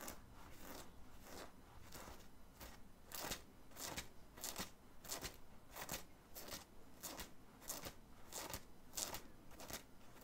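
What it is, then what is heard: Cotton graphic t-shirt scratched. Fingernails scratch the printed graphic on the chest of a black cotton t-shirt worn under an open hoodie. Quiet, dry, bright scratching strokes repeat at an uneven pace, each a short rasp with a quick fade and some low rumble beneath.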